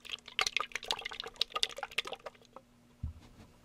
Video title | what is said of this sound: How To Fix Everything Wrong With The AMT/ERTL 1969 Ford Fairlane Cobra/ Torino Part 5 | if I take it and shake it you can hear that it's still liquid inside